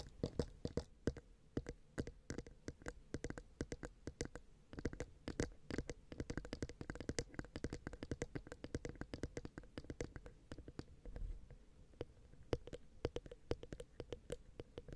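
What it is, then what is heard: Metal microphone capsules tapped with fingernails. Long manicured nails on both hands tap and scratch the bodies of two small cylindrical metal X/Y microphone capsules on a black Zoom H6 recorder. The result is a rapid, dense stream of short, dry clicks and soft thuds, heavy in the low end with a faint metallic tone near 470 Hz. Each tap dies away almost instantly.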